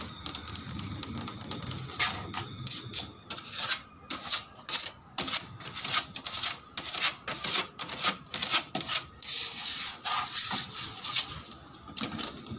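The plastic surface of a slide is rubbed and tapped in quick, irregular bursts of bright, scratchy friction. Short taps are mixed in, with almost no low end and a faint steady tone near 1.2 kHz underneath.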